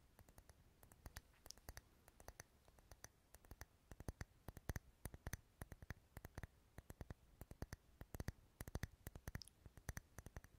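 Fingernails tap and scratch a lit, dark red, solid wax pillar candle held close to the mic. Quiet, quick, irregular clicks with a soft low body and bright tick tops come over a faint scratching hiss. Each tap stops dead, with no ring.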